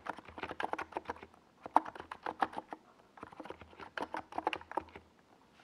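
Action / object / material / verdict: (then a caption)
tap / plastic mechanical keyboard with tall plastic keycaps / plastic / none. Fingertips of both hands type on a NiZ Plum Atom 68, a compact 68-key keyboard with a white plastic case and tall purple and yellow Domikey Gas Attack SA plastic keycaps, resting on a desk pad. About two dozen quick, irregular, hollow plastic clacks centred in the midrange come in two bursts split by a brief pause near the middle. Each keystroke stops almost at once, leaving a dry, close clatter.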